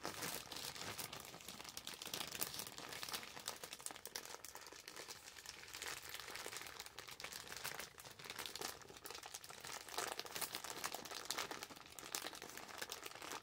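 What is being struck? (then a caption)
Plastic shopping bag. An orange glossy plastic Ulta shopping bag, held in both hands, is crinkled, scrunched and scratched with long acrylic nails. The result is a continuous stream of quiet, bright, crackly rustling with dense rapid crinkles and almost no low end.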